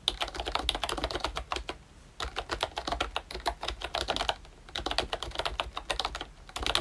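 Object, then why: Plastic membrane keyboard. Fingertips type steadily on a pink and brown plastic retro membrane keyboard, a ROYCHE Disney Mickey Mouse model. Quick, short, bright clicks come in dense runs, with brief pauses near two seconds and again before the end.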